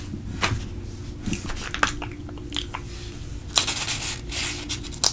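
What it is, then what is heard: Paper coupon booklet. Fingertips flatten a page of a thin paper coupon mailer booklet lying open, then turn the page over. Soft rubbing and papery rustles break into short, bright crinkles and crackles, with a louder, crisp swish as the page flips near the end, over a steady low hum.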